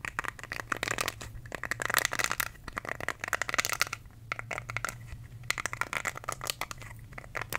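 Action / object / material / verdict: scrape / silicone facial cleansing brush / silicone / none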